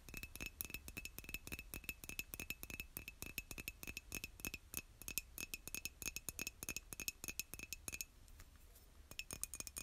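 Long nails tap rapidly and irregularly on the outer wall and handle of a hollow white glazed ceramic mug, making dozens of quick, bright clicks. Each tap carries a short ringing tone near 2.6 kHz. The tapping continues quietly with a brief lull near the end before resuming.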